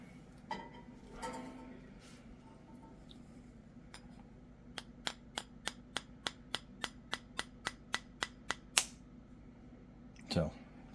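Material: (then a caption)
Eggshell. A spoon taps the rounded end of a raw chicken egg in a quick, steady series of about 16 sharp, bright clicks, each louder than the last. The final tap at the end of the run is the loudest, marking the crack of the inner membrane. A brief low thump follows shortly after.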